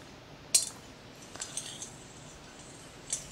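A large, hollow, clear glass plasma ball is tapped with the fingertips and nails of both hands. Five sharp, bright clicks sound over a quiet background, each ringing only briefly with a high glassy tick.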